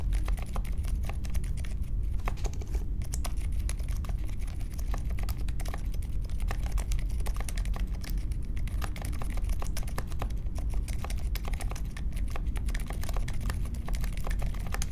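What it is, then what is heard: Mechanical keyboard being typed on. A compact grey metal-cased Polaris mechanical keyboard with Silent Alpaca switches and plastic keycaps, resting on a marble desk, is typed on continuously with the fingertips of both hands. Keystrokes come in a steady, dense stream of soft, muted, low-pitched taps with little bright click.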